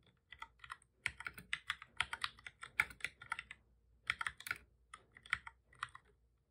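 Both hands type steadily with their fingertips on a full-size black plastic computer keyboard with a hollow body, resting on a desk. The result is a quick run of short, bright, clicky key taps that stop almost instantly, centered around 2.2 kHz with almost no low end. The taps come in bursts with brief pauses between them.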